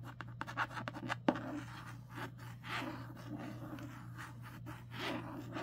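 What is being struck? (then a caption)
Paperback book with cardstock cover. Long nails scratch and trace the illustration on the matte cardstock cover of a solid paperback book lying flat. A few sharp clicks come first, followed by soft, continuous scratchy rasps over a steady low hum.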